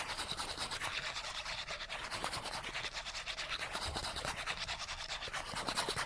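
Fingernails quickly scratch the edge and surface of a small, flat, die-cut cardboard character card that is thin and solid. The result is a fast, continuous, dry rasping with a bright, hissy texture and little low end, pulsing in a rapid, loosely regular rhythm.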